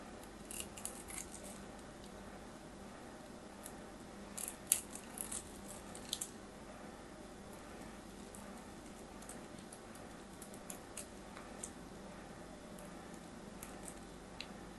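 A metal craft knife carves crumbly flakes off the edge of a solid orange soap bar held in the fingers. Quiet, steady scraping is broken by irregular sharp, bright ticks and crackles as flakes break away, and the louder ones bunch near the middle of the clip.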